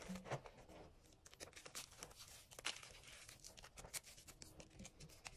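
Fingers rub, squeeze and crumble dyed gym chalk, mostly crushed powder with a few flakes, in an enamel bowl. A steady stream of soft, dry crunching and crinkling is heard, with bright gritty texture and occasional sharper snaps. The result is close, quiet, powdery crumbling throughout.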